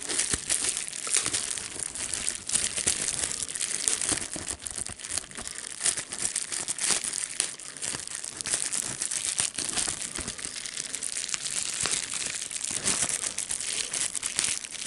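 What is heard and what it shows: A clear plastic bubble wrap piece with hollow air bubbles is held in both hands while fingertips squeeze, pop and crinkle it. Steady, dense, bright crinkling fills the clip, broken by many short, sharp pops and snaps with almost no low end.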